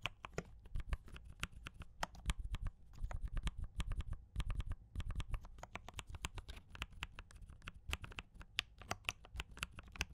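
A compact mechanical keyboard with D84 Brown switches and cream and red plastic keycaps is typed on continuously with the fingertips of both hands. The result is a fast, steady run of short, dry clacks with deep, thocky lows and bright clicky tops, each dying out almost instantly.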